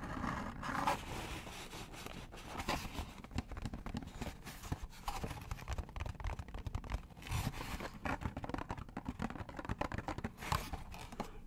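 A small, hollow cardboard McDonald's box is held in both hands close to the mic and scratched with fingernails. Dense, crackly scraping and rapid scratchy taps run throughout, with a hollow low body and brief brighter rasps.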